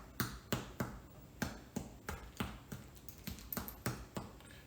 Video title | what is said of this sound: Don't Be Afraid to Bake Some Bread! | if you thump it's a little bit of a hollow sound